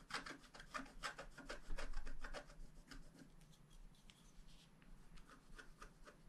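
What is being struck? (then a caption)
Black-coated scratch art card scraped with a wooden stylus. A wooden stylus scratches the coating off a flat, black-coated scratch-art card lying on a table. Quick, dry scratching strokes come at roughly four per second, brighter and louder for the first two and a half seconds, then settle into softer, fainter strokes.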